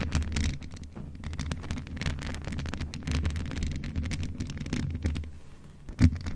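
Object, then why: Metal desktop microphone with mesh grille. Long nails of both hands continuously scratch the rounded mesh grille head of a hollow, grey metal desktop USB condenser microphone. The result is a dense, rumbling scratch heavy in the low end, with brief crackly bursts reaching higher. A louder bump comes near the end.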